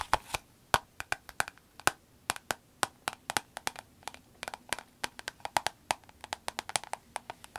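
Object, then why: Vinyl glasses case. A soft green vinyl glasses case is held and turned while being tapped and scratched with long acrylic nails. About forty quick, dry clicks and taps sound in an irregular patter, each dying away almost instantly, with a woody tone centered near 950 Hz and bright tips.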